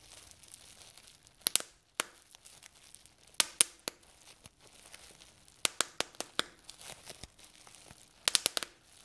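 Fingertips and short nails pinch the air-filled bubbles of a large sheet of clear plastic bubble wrap lying on a table, popping them one by one. Sharp, bright snaps ring out in a scattered series, some in quick clusters, with soft plastic crinkling in between.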